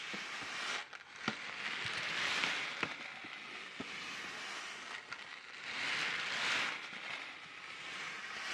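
A sealed orange plastic-film Taiyo snack packet is crinkled, flexed and shaken by hand above the mic. It makes a steady, bright crinkling rustle that swells and fades, broken by a few sharp crackling snaps.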